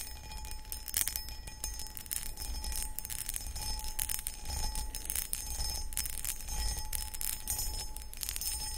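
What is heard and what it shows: Long acrylic nails scratch across a medium, hollow, empty cut crystal glass pedestal bowl, with the hands hidden behind the bowl at the end. Bright, rasping strokes rise and fall in quick, irregular bursts over a faint steady ringing tone and a low background rumble.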